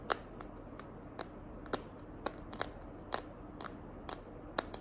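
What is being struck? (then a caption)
Plastic phone case. Long nails tap and scratch the back of a smartphone in a small, hand-held green glitter plastic case. There are 13 sharp, dry clicks with bright, crisp tops and almost no ring, spread unevenly over a faint, steady hiss.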